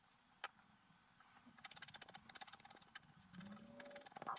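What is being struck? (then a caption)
Coated scratch-art paper card scraped with a wooden stylus. A wooden stylus makes repeated short scratching strokes across a flat coated scratch-art paper sheet on a table while the other hand holds the sheet still. The quiet, dry, bright scratches come in quick bursts, densest in the middle, and each one stops almost at once, over a soft, low background hum.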